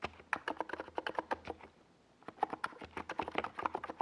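Fingertips of both hands rapidly type on a NiZ Plum Atom 68, a compact 68-key keyboard with a hollow white plastic case and purple and yellow Domikey Gas Attack SA plastic keycaps, set on a desk pad. Quick, clacky key taps with a hollow mid-pitched tone come in bursts, with a brief pause around the middle before the typing resumes.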